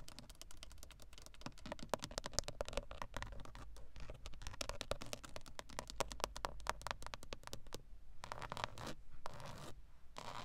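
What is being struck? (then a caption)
Hard plastic steering wheel airbag cover. Long acrylic nails tap and scratch rapidly across the textured hard plastic airbag cover and plastic control buttons at the centre of a VW steering wheel, a hollow plastic shell. Dense, dry, clicky ticks and raspy scrapes run continuously over a steady low hum, thinning into a few separate scratchy bursts near the end.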